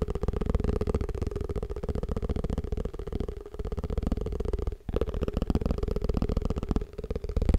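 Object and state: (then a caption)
Plastic food container. A plastic tupperware food container is tapped fast and aggressively in a dense, continuous run of short, dull taps with a low, boomy body and almost no high-frequency content. The tapping pauses briefly near the 4.8-second mark, then resumes and grows slightly louder toward the end.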